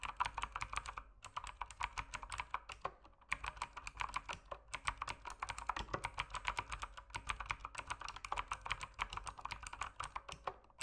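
Fingertips type steadily on an RGB mechanical keyboard with plastic keycaps, producing quick, sharp clicks and clacks with a bright, clicky tone centred around 2.3 kHz. The typing comes in runs broken by short pauses near 1, 3 and 4.7 seconds, and each keystroke dies away almost instantly.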